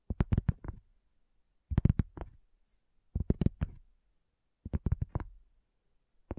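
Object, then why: Round flat cork coaster. Long fingernails tap slowly on a solid, round, flat cork coaster. Four short bursts of quick, dull, low taps with almost no ring are separated by silence, and a final tap starts just as the clip ends.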